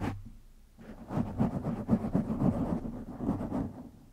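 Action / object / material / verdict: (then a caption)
scrape / foam microphone windscreen / foam / none. Fingertips of both hands scratch a black foam windscreen on a silver microphone. After a brief thump and a quiet pause, a dense, irregular run of low, muffled rustling and crackling scratches builds from about 0.8 seconds, then fades toward the end.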